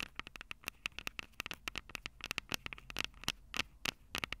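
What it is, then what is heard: Metal mesh microphone capsules of a handheld recorder. Long purple acrylic nails tap and scratch the two small crossed metal mesh mic capsules of a Tascam DR-05 handheld recorder, which sit on its hollow plastic body. About 25 sharp, dry clicks come in an uneven, quick patter over faint scratching, each one bright with a tinny ring near 2.8 kHz that dies almost instantly.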